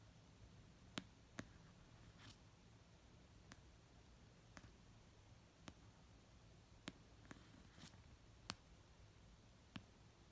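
Fingers spread over an orange paperback novel of solid paper, resting on a fluffy blanket, tap it slowly with nail tips and fingertips. About nine sharp, dry clicks ring out one by one with almost no ring, bright at the top, over a quiet low hiss. A few softer brushing sounds fall between them.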